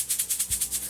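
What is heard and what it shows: A triple-layer Bagotte air purifier filter (pre-filter, HEPA and a carbon back layer) is shaken by hand, and the small pieces of activated carbon inside the back layer rattle. The result is a quick series of bright, dry, maraca-like shakes, mostly high-pitched hiss with almost no low end.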